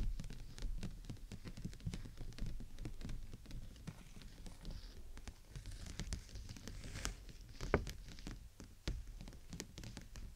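Long nails rapidly tap and patter on the thin canopy of an open, clear PVC dome umbrella held over the microphone. The taps are quick, dull and heavy in the low end with short, dry decays, scattered like rain, with a few sharper, brighter taps standing out toward the end.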